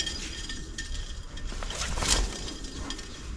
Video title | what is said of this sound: Łożyska w przyczepie jak sprawdzić i wymienić DIY | taki delikatny metaliczny dźwięk Co słychać w środku